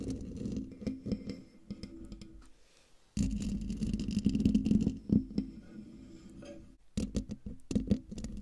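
Long dark nails scratch and tap the hollow metal mesh grille of a silver condenser microphone. The result is a dense, close-up rasping scrape with quick taps and a low, boomy hum around 190 Hz. A brief near-silence is followed by a louder stretch of scratching from about 3 seconds, and after a short pause near 7 seconds, sharper taps close the clip.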